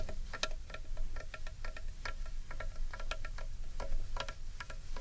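Long painted nails tap and lightly scratch the outer wall of a large, hollow carved wooden bowl held upright in one hand. A rapid, uneven run of dry, hollow clicks rings briefly with a woody tone and bright edges, over a steady low rumble.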